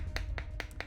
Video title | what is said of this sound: Tonkotsu Broth Breakdown: The Science Behind Perfect Ramen | you're hammering around and you're looking for that hollow spot. You hear like a slight splintering as well.